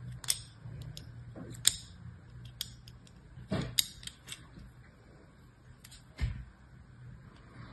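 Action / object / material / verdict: scrape / soap bar cut with a thin metal blade / soap / none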